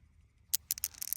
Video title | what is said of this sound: Petrified Forest NP 2026 Painted Desert, Az | Can you hear that when you drop it on there? That is hard hard material